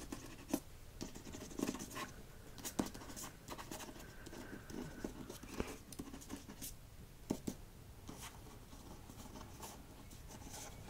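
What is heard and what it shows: A solid hardcover copy of "Tomorrow, and Tomorrow, and Tomorrow" with a glossy paper dust jacket is held in hand while fingertips and nails tap and scratch its front cover. Soft, quick, dry taps fall at irregular intervals over a steady low scratching hiss, each tap dying away almost instantly and the whole thing staying quiet.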